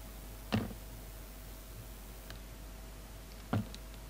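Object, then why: Carved soap flower. A utility knife blade scrapes and slices the red layered petals of a hand-held, palm-sized poppy carving of solid soap with a green-black center. Two short, dull, low clicks stand out against a quiet, steady background hum, with faint fainter ticks between them.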